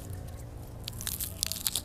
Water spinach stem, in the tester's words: kangkung organik jadi gini ada bunyinya keras